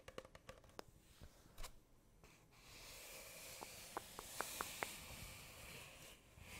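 Long painted nails tap and scratch along the side of a hollow, empty brown cardboard tube held upright beside the microphone. Quick dry taps come first, then a steady bright scraping hiss with a row of sharper, lightly ringing taps over it. The taps die away quickly.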